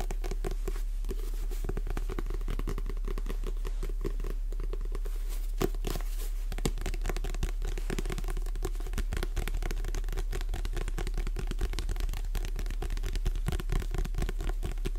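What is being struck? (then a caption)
Paperback book, paper cover and page edges. A paperback book is tilted and held close to a microphone while long red nails tap and scratch its cover and page edges. The result is a dense, irregular stream of soft, short taps and rough scratches over a steady low rumble, with a faint tonal band in the low mids.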